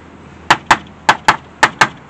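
Six short, dull taps in three pairs on the damaged right rocker panel of a 1999 Mégane coupé, where the paint is cracked and a magnet won't stick. Each knock is a dead, mid-pitched thud that dies almost instantly with no metallic ring. The panel is almost entirely body filler with little metal left beneath, so it sounds bad, and the section is later cut out.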